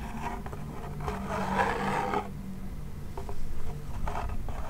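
Fingertips and nails rub and scratch the drum head and wooden rim of a small, hollow wooden toy pellet drum. The result is a low, rumbling scrape with a hollow resonance that swells through the middle of the clip. It then breaks into short, scratchy strokes toward the end.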